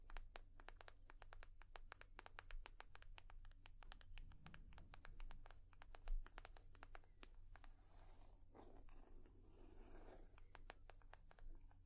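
A leather purse is tapped and scratched with long nails, giving a rapid stream of short, dry clicks and soft scraping over a steady low hum. The taps come quick and close together, and a brief rougher scratch stands out near the end.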